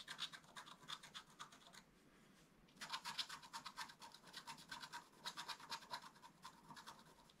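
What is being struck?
Black-coated scratch art card scraped with a wooden stylus.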